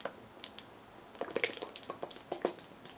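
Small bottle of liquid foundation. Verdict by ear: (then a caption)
Runny. A bottle of L'Oréal Infallible Pro Glow liquid foundation is shaken as its packaging instructs, producing quick, soft squishy sloshes and light clicks with bright edges. It sounds very liquid, matching the very runny foundation inside.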